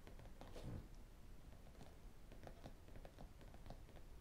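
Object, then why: Spiral notebook with plastic cover and metal rings. Fingertips and metal rings tap and scratch the blue plastic cover and metal spiral of a large spiral-bound notebook with paper pages, lying flat on a desk. A quiet, steady run of soft, dull taps and scratchy brushes follows, mostly low in tone with short, damped clicks that fade quickly.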